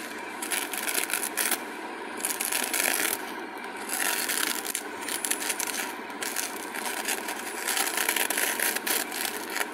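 A purple glitter craft foam sheet is handled and bent between the fingers while long nails scratch and rub across its surface. The result is a steady, bright, crackly scratching and rustling texture with repeated rough bursts that swell and fade, and almost no low end.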